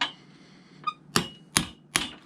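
Five hammer strikes drive a steel nail into a rubber lug heel being fitted to a bit loafer on a jack. Each strike gives a sharp, bright tap with a short metallic ping. The ping shows the nail is hitting the metal ring set in the middle of the heel, which the nails compress against to hold the heel on, as expected.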